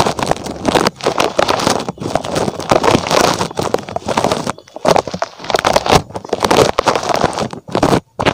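Fingertips scratch the spikes of a small red spiky rubber puffer toy shaped like a rabbit, held close to the microphone. The result is dense, crackly rubbery scraping in bursts with brief pauses between strokes.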